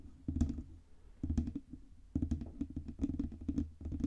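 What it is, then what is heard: Metal microphone body tapped with nails. Long red nails tap quickly on the front and sides of a black Blue Yeti USB microphone with a hollow metal cylindrical body. The taps come in irregular bursts of rapid, dull clicks separated by brief quiet gaps. Each tap is a short, deep, muffled knock that dies away almost at once.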